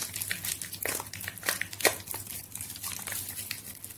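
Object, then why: Bar of soap. A solid white bar of soap, softened by soaking, is held in both hands over a water-filled plastic basin and squeezed and pinched by fingers with long yellow nails until it breaks into mushy flakes. A steady run of soft, bright, crinkly squishes and crumbling crackles is heard, with a sharper snap near the middle.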